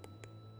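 The skin of a long-roasted, honey-glazed pork belly, just out of the oven, is tapped twice, giving two light, dry clicks with bright crackle over a steady low hum. The clicks confirm the crackling is crisp.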